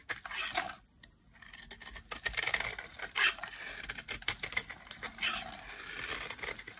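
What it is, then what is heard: Dry bar soap. A solid pink embossed bar of dry soap, held in both hands, is carved into flakes with a metal utility blade. It makes dry, crisp scraping and cutting sounds in quick, crackly bursts with a bright, papery texture and a brief quiet pause near the start. Each cut stops short with almost no ring.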